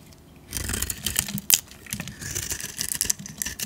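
A metal utility blade scrapes shavings off the face of a solid green rectangular bar of olive oil soap held in the hand. After a quiet half-second, dry, bright, crackly scraping starts and continues in uneven bursts, with one sharper, louder scrape near the middle. There is little low end and no ring after each stroke.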